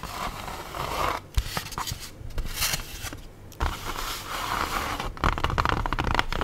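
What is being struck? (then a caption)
Styrofoam food tray. An empty, hollow, lightweight black styrofoam food tray is held, then laid on its edge on a table while long nails scratch and squeak along its foam surface and rim. The result is bursts of dry, rasping scrapes with sharp squeaks and a few sudden louder scratches, broken by brief quiet gaps.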